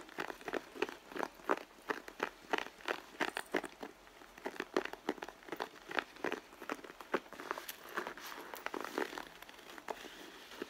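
Long nails scratch the side of a red pebbled-leather handbag near the stitching, the leather soft and hollow underneath. A quick, irregular run of dry, crinkly scratches and taps, each short and bright in the midrange, with no low-end weight.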